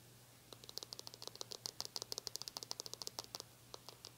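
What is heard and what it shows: Long nails rapidly scratch and tap the glossy plastic back and bristles of a small metallic-pink plastic hair brush. After a quiet half second, 25 quick, bright, dry clicks and ticks follow in an uneven rhythm with almost no ring, over a faint steady low hum.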